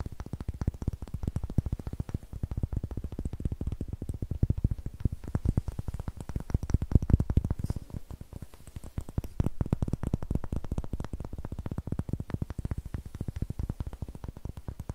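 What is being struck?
Large wooden block.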